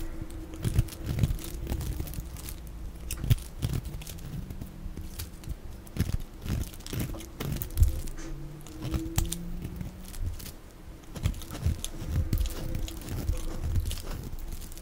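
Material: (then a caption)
Soap. A black blade cuts and scrapes thick flakes off the top edge of a dry, palm-sized lilac soap bar molded in a cloud or bear shape and held in one hand. Dense, dry crunching and scraping crackles repeat throughout, with a heavy, muffled low end and short, sharp snaps that stop almost instantly.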